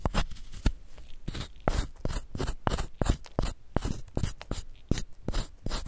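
A wooden spoon repeatedly scrapes a solid white, palm-sized gym chalk block held in a gloved hand, digging out crumbly chalk. The result is a rapid series of dry, crunchy scrapes, each a short burst with a dull low thump and bright gritty texture and no ring.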